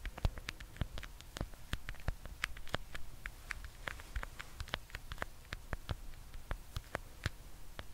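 A small, solid-wound roll of black vinyl electrical tape is held in one hand close to the mic and tapped and scratched with fingertips and nails. The result is a quiet, rapid, irregular patter of dry, crisp clicks and light scratches over a low rumble.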